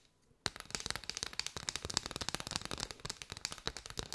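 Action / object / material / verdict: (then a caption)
tap / bundle of paper straws / paper / none. Long white nails tap and scratch a curved bundle of hollow paper straws held close up. After a brief quiet start, a rapid, dense run of sharp, dry, bright clicks and scratches follows, each dying away instantly with no ring and little low end.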